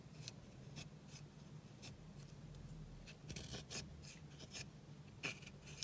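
A pink plastic spatula scratches and crumbles the white pressed powder eyeshadow pan in a small black plastic palette with a clear lid, held in hand. Short, bright, dry scraping strokes repeat over a steady low hum, each one ending abruptly with no ring.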